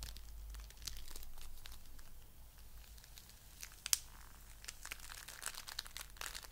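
A fist-sized lump of coral-pink foam bead clay is squeezed between both hands and fingertips. It makes quiet, bright crinkling and crackling as the tiny beads shift and pop, with one sharper snap partway through.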